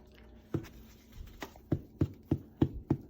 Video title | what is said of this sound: May 11, 2020 | that's the hollow sound that's the sound you want to hear that's telling you the breads done